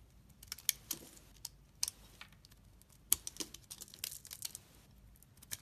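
A utility knife blade carves flakes and slices off a solid green bar of soap held in the hand. It makes a quiet, irregular run of crisp, bright scraping and snapping cuts with no lingering ring.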